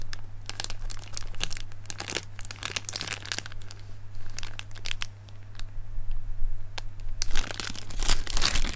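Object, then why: Plastic air-filled packing cushion. A clear, lightweight, hollow plastic air-filled packing cushion from an Amazon parcel is squeezed and crinkled between fingertips over a leaf-print fabric surface. It gives a steady run of sharp, bright crinkling and crackling bursts over a constant low hum, with busier clusters near the start and end.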